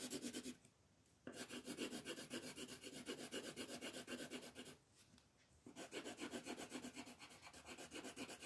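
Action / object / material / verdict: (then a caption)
scrape / colored pencil on a thin paper sheet / paper / none. A yellow colored pencil shades a star on a thin printed paper coloring page lying flat on a table, using dense back-and-forth strokes. The rubbing is a quick, steady, bright scratchy rasp of about four strokes per second, broken by two brief quiet pauses before the shading resumes.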